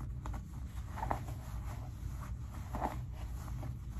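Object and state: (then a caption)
Denim jeans pocket being rubbed. Fingertips rub and dig into the front pocket of heavily ripped light cotton denim jeans, making soft, low fabric scratching and rustling with a steady rumbling undertone. Brief brushing scrapes stand out here and there over the quiet, close texture.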